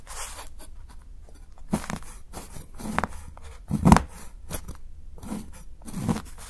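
A steel kitchen knife shaves and chops the edge of a solid milk chocolate bar held down by fingers, cutting it into thin curls that pile up beside it. Soft, irregular scraping is broken by about five duller, low chopping crunches that stop short with no ring.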